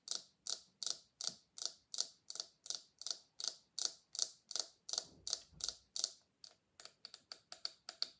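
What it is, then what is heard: Silicone scalp massager. Long nails of one hand repeatedly flick and tap the bristles of a small pink silicone scalp massager held in the other hand. This produces 26 quiet, sharp, bright clicks with almost no ring. The clicks come at a steady pace at first, then quicker and softer toward the end.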